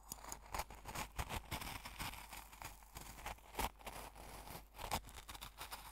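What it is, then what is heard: Coarse salt in a glass jar. A metal fork stirs, digs and scrapes through the coarse salt crystals filling an open small glass jar, crunching them. A dense, continuous gritty crunch and scrape is heard, with sharp bright bursts and a few brief clinks ringing near 880 Hz as the fork touches the glass.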